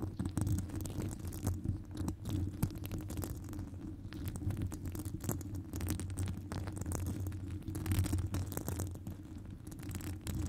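Long acrylic nails scratch a hollow metal wire-mesh microphone grille close up. The result is a dense, continuous scraping rumble, mostly low and boomy with a steady hum-like tone near 105 Hz. Faint bright ticks flick through it.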